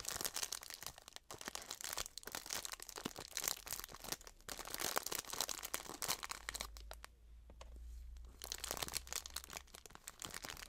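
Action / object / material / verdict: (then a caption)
scrape / plastic bag of loose herbal tea / plastic / none. A small clear plastic bag full of dried loose herbal tea is crinkled and handled by fingers and long nails as it is opened over a tray. The result is a dense run of bright, crisp crackles and crinkles with a quieter, softer stretch around the seventh and eighth seconds before the crinkling picks up again.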